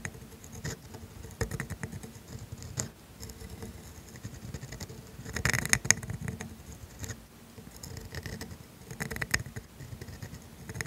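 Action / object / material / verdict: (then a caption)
scrape / steel pen nib on thin grid paper / steel, paper / none. A steel calligraphy dip pen nib scratches ink strokes across thin grid paper, writing the words "and mine." Soft, dry scratching and light tapping strokes carry a bright, high edge over a low, quiet rustle. The strokes swell briefly louder near the middle before settling back.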